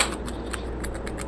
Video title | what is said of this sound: استربس الدجاج المقرمش😋🍗بتبيلةخطيرة🤤بطعم وقرمشة رهيبة👌احلى من الجاهز مليون مرة🤫جربوه هتبطلواتشتروه😊✌️ | ناشف ازاي كده مقرمش؟ لو طري استحالة طبعا ان هو يعمل الصوت ده